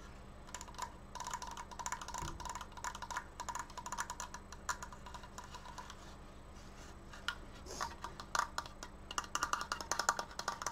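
Fingertips tap quickly on a wooden Triforce decoration, making dry, hollow wood-block clicks with a woody ring around 1.2 kHz that dies away almost at once. The tapping runs steadily throughout, growing louder and more clustered in the last few seconds, over a faint steady low hum.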